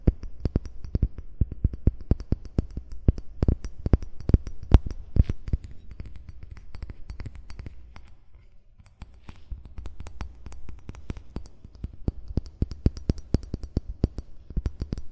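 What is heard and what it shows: Short fingernails tap and scratch the base of a hollow amber (brown) glass bottle lying with its base toward the mic. A rapid, steady run of short, dull low knocks with quick decay is heard, with faint scratching and a thin high tick over the taps. The taps ease into a brief quieter stretch around the middle before resuming.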